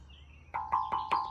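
Four knocks strike the very heavily built steel frame, about as big as a hand, of a brand new New Holland Procart 1022 hay rake. Each knock gives a short, bright metallic ring near 1 kHz that fades quickly, and the frame sounds solid.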